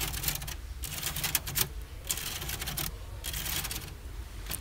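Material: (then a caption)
Wood. A large decorated bookshelf in an IKEA showroom is tapped quickly with fingers, giving bursts of bright, dry clicking taps. Store music plays softly underneath.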